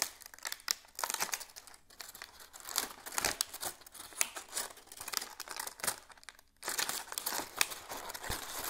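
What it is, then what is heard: Dry dead leaf. A large, dry, brown-orange dead plant leaf is held in both hands while fingertips crinkle and crumple it. Dense, bright, crackly crinkling runs throughout, with almost no low end, dips briefly quiet just before the 7-second mark, then resumes.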